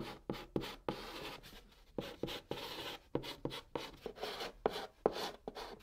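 A white chalk stick held in the fingertips writes Korean letters on the hollow top of a large, flat, brown cardboard box. A run of sharp taps, each followed by a dry, gritty scratching stroke, sounds across the surface. The strokes are quiet, short and bright-edged, with little low-end body and almost no ring.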